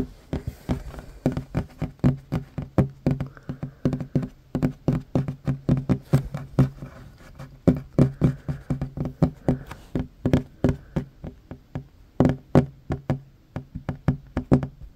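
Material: Wood.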